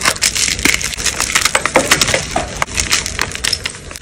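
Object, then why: Block of gym chalk. Solid white gym chalk blocks are crushed in both hands with long pale nails, the fragments and powder falling into a tray. A fast, dense run of bright, dry crunching and crackling snaps continues throughout, with little low end.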